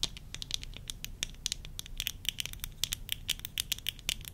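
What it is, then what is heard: Plastic eyeglasses tapped with fingernails. Worn tortoiseshell plastic eyeglasses are tapped rapidly with long nails, first on the lenses and rims, then on the temple arms. The result is a dense run of about 30 sharp, dry clicks with a bright, high tone and almost no ring.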